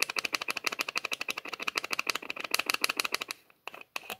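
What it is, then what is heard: Small plastic bottle screw cap clicking. Fingers repeatedly twist and rattle the white plastic screw lid on the threaded neck of a small clear plastic bottle with a white label, held horizontally. The result is a rapid, uneven run of short, dry, bright clicks with a sharp ring near 2.6 kHz. Near the end the clicks stop briefly, then a few final clicks follow.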